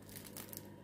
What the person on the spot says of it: on entend ça craque